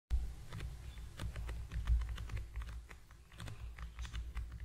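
A small, long, narrow, hollow cream-and-yellow cardboard product box with a printed logo is held in both hands just above a foam-covered microphone and tapped quickly with the fingertips of both hands. The result is a steady flurry of soft, dry, hollow taps with short, crisp clicks, over a low, muffled rumble that carries most of the sound.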